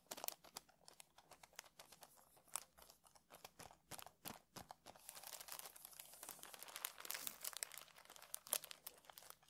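A small worn paperback book with a green card cover and a paper page block, closed and lying flat on a felt table, is tapped and scratched across its cover with fingertips. Quick, dry, bright taps mix with soft papery scratching and crinkling, which grows denser and busier in the second half. The sound is quiet and crisp, with almost no low end and no ring after each tap.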